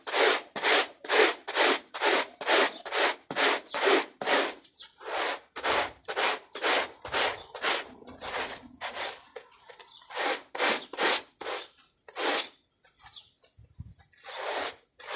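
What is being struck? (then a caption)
Small textile pile rug scrubbed with a plastic bristle brush. A grey plastic bristle brush scrubs a small, wet, foot-shaped textile pile rug held down by one hand. Rapid, fairly steady back-and-forth strokes, about two per second, make bright, raspy swishes with brief gaps between them. The rhythm turns looser and softer near the end, pauses briefly, then picks up again.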